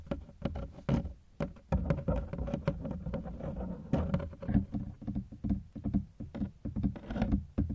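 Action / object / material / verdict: tap / hard-shell plastic suitcase / plastic / none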